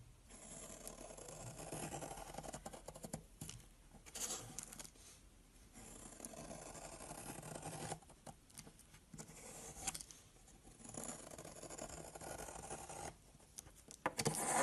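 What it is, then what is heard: Soap bar. A box-cutter blade repeatedly cuts and scrapes thin slices into a long, solid brown soap bar lying on a white surface. Long, soft, hissing scrape strokes run for a couple of seconds at a time, broken by short pauses and a few sharper, brighter nicks of the blade.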